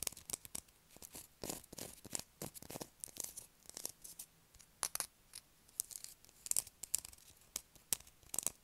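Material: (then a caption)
Soap. Long acrylic nails scratch and scrape the surface of a solid blue bar of soap held in the hands. The result is a quiet string of short, dry, bright scratching bursts with brief pauses between them and almost no low end.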